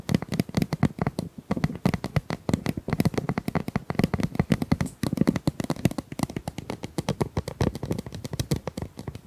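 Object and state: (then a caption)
Ribbed plastic pop tube tapped and scraped. Long nails run over and tap the ridges of a hollow, corrugated pink plastic pop tube held horizontally. The result is a dense, irregular stream of dozens of short, dry taps and ticks with almost no ring. Each tap has a low, hollow body around 190 Hz and a brief bright click on top.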